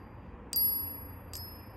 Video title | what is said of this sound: AUSSIE JUNK SILVER | isn't that beautiful ringtone? Listen to that.